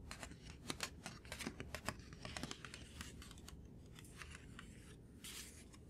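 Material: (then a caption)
Paper. A thin white sheet of paper or card, held up, is tapped quickly with the fingertips and short nails. The taps land as crisp, bright clicks over a soft, low hum. They are sharp and distinct at first, then blur into a softer, rustling patter.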